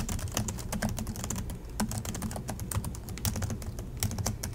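A silver Acer laptop with black plastic chiclet keys, resting on a desk, is typed on steadily with the fingertips of both hands. A fast, dense run of sharp, bright key clicks rides over a low, steady hum. The clicks come too close together to count and fade almost instantly.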